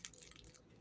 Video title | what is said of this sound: HAZIR YUFKADAN ISPANAKLI ÇITIR BÖREK ❤️🍀@Annekokusu_4620 #ispanakliborek #citir #aboneol #tarif | gayet çıtır çıtır. Çok güzel olmuş.